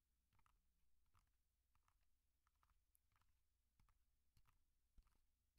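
Medium-length painted nails and fingertips tap and scratch the top of a small black Tascam DR-05 handheld audio recorder, with a plastic body and metal-guarded mic head, held upright; the recorder is also the microphone. Quiet, irregular, rapid clicking taps with short, sharp attacks sound over a steady low-frequency rumble.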